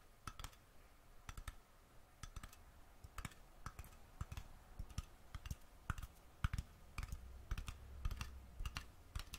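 Fingernails tap and click on the metal screw lid of a small glass mason jar held in the hand. The result is a quiet, irregular series of short, dry clicks, each one a bright broadband tick with a faint low thump and almost no ring.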